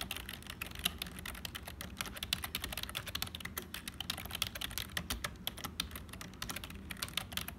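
Fingertips of both hands type continuously on a black HP plastic membrane keyboard with hollow keys. The result is a steady stream of quick, bright plastic clicks and taps that die away almost instantly, over a faint low rumble.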